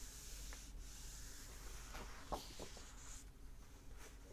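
Fingertips and short nails rub and scratch the printed paper pages of an open hardback book lying flat, then turn them. Soft, quiet papery scraping and brushing sits over a steady low rumble, with one louder rustle near the middle.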